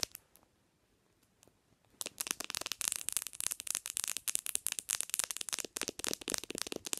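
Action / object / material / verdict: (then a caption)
tap / smartphone with glass screen / glass / none. Long nails tap the glass screen of a black smartphone resting on a pillow. A few sparse, sharp clicks come first, then after about two seconds the tapping turns fast and continuous. The dry, bright ticks have almost no low end and no ring.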